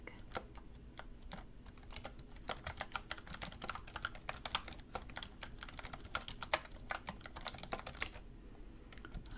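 A black plastic computer keyboard is typed on with both hands, using fingertips and long red nails. Quick, sharp key taps click in an uneven, steady flurry, some landing louder and brighter than others, over a faint low background hum.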